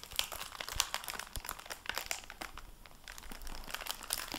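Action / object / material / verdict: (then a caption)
scrape / hardback book with plastic-covered dust jacket / plastic film / none. A dark blue cloth hardcover library book in a plastic-covered dust jacket is opened, and fingertips handle the jacket flap and pages. Dense, bright crinkling of the plastic cover comes in quick, sharp bursts over soft page rustles, with little low-end weight.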